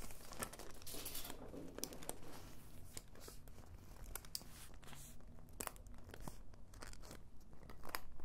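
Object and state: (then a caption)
Faux leather pouch. Long white nails scratch and tap across the surface of a flat, medium-size orange faux-leather zip pouch that appears empty. The result is soft, crinkly scraping broken by many sharp, bright clicks, all at a low, steady volume.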